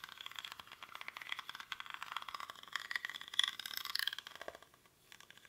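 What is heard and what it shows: Fingernails scratch the weave of a small, hollow woven rattan or reed basket held in both hands, its contents not visible. The result is a dense run of quick, dry, crackling scratches that are bright and thin, with no low end. The scratching swells near the middle, nearly stops just before the end, then returns faintly.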